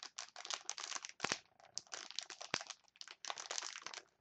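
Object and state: Plastic chopstick package.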